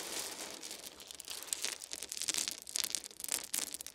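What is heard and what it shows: Small round wooden beads are scooped up in cupped hands and poured back onto a fuzzy blanket, rattling and clacking together. The sound is a quiet, dense, bright crackle of many quick clicks with almost no low end, swelling and thinning as the beads fall.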